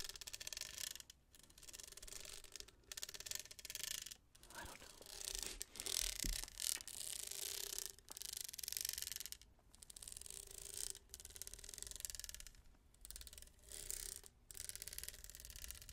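Fingernails rub and scratch over the studded surface of a tall, hollow, textured plastic tumbler with a lid and straw as it is held in the hands and handled or twisted. The result is a run of bright, crackling, scratchy rubbing bursts with short quiet gaps between them, mostly high in tone with little low end.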